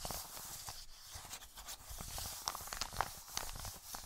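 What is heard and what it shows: An Amazon kraft-paper padded mailer lying flat is scratched and tapped with short painted nails and rubbed with fingertips. A quiet, steady papery rustle with a bright scratchy hiss runs throughout. In the second half, several crisp, short taps stand out above it.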